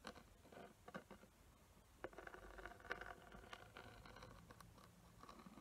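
Long nails scratch and tap across a small square box with a glittery surface and raised glue outlines. The result is quiet, close scraping and scratching, broken by short, dry tap clicks that stop almost instantly.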